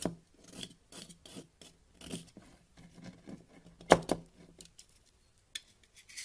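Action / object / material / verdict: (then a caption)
scrape / solid bar of soap cut with a blade / soap / none. A box-cutter blade scrapes and cuts small crumbly pieces off a partly carved solid white bar of soap, with a powdery soap pile lying next to it. Short, dry rasping scrapes repeat in bursts with bright, hissy edges, and one sharper crisp cut stands out near the middle.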